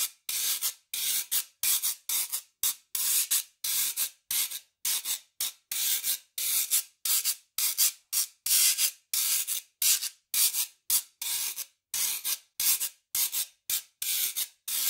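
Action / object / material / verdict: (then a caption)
scrape / metal shaker tube with ridged surface / metal / none. A fan-shaped wire brush scraper is raked across the ridges of a long, hollow, dark metal shaker tube with a perforated, ridged surface, held upright in one hand. It makes a rapid series of short, bright, hissing rasps, each stroke separated by a brief silence, in an uneven rhythm. The sound has almost no low end and stops cleanly after each scrape.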